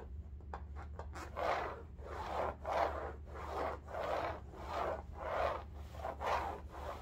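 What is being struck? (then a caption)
Woven fabric bolster pillow. Fingernails scratch and rub the weave of an upright bolster pillow in striped woven fabric. A few quick, light scratches at the start give way to steady back-and-forth rubbing strokes, each a soft, swelling rasp centered in the mid range. A faint low hum sits underneath throughout.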